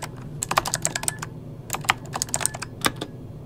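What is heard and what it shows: Fingertips of both hands type fast on an RGB-backlit mechanical keyboard with plastic keycaps. The result is quick bursts of short, bright clicks and clacks over a low steady hum, with brief pauses between the runs of keystrokes.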